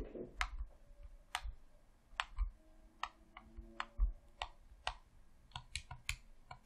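A hollow red plastic Xbox controller, held in both hands, is clicked by fingertips on the D-pad, face buttons and thumbsticks. About fourteen short, sharp plastic clicks and taps land at an uneven pace, each bright and dying away almost at once over a soft low thump.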